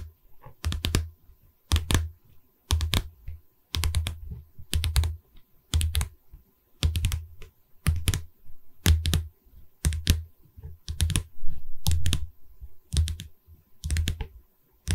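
Long red fingernails on one hand tap along the top edge of a pine canvas frame. They make quick clusters of dull wooden clicks, with a low thud underneath and faint bright edges. The clusters come about once a second, and each click stops almost at once.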